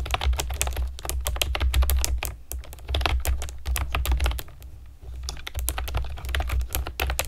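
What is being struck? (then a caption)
Plastic keyboard with round keycaps. A pastel plastic keyboard with round keycaps is typed on with long nails and fingertips, producing fast bursts of sharp, bright clicky keystrokes. The typing pauses briefly around the middle, and a steady low hum runs underneath the whole clip.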